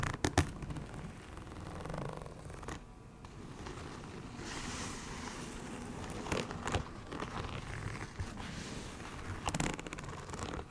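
Long nails scratch along the ridged snake-scale texture of a soft, hollow iridescent faux leather makeup bag held from below. The result is a steady, crinkly scraping rasp with low body and occasional brighter sharp ticks.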